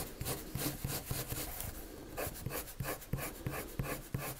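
A pale colored pencil rubs circular strokes across a sheet of flat white drawing paper. It makes a quiet, steady run of soft scratchy strokes, about three per second, each with a dull low thump under a bright papery hiss.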